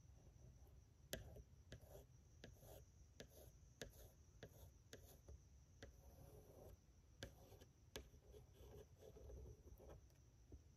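A yellow wooden pencil, held in a hand with blue-painted nails, is traced and scratched along the lines on the flat glass pane covering a framed pencil drawing of a woman's profile. Quiet, sharp ticks from the pencil tip on the glass come at irregular intervals with soft scratchy rubbing in between. A low rumble and a faint high hiss run underneath throughout.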